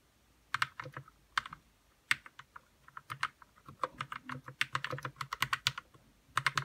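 Fingertips type on a white RK61 60% mechanical keyboard with plastic keycaps, lubed red switches and a hollow plastic case. The result is a quick, uneven run of short, bright clacks with a faint low thump under each key, and every stroke dies away almost instantly.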